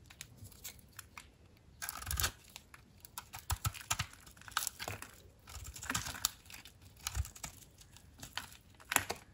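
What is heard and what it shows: A utility knife blade shaves thick, crunchy curls off a dry, solid blue soap bar with a white powdery, crusted outer layer, held in the hand. Bursts of crisp, bright scraping and crackling come one after another, with short dry snaps and quiet gaps between strokes.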